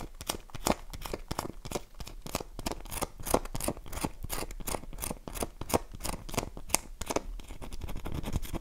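A dry, solid, oval light-blue bar of soap is held in the hand and scratched and tapped with long nails on its face and edge. The result is a rapid series of short, dry clicks and scratches with no ring, each one crisp and bright against a soft rustling background.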